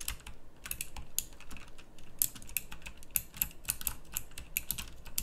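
Both hands type with their fingertips on a full-size backlit pink mechanical keyboard with round plastic typewriter-style keycaps. A rapid, irregular stream of sharp, bright clicks rings out, each keystroke dying away almost instantly over a low, steady background rumble.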